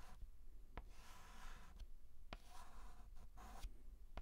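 A white chalk stick is scratched and rubbed across a large, flat blackboard while writing a letter. Soft, dry scraping strokes are broken by sharp little taps and clicks as the chalk meets the board. The result is a quiet, gritty rasp with a faint low rumble underneath.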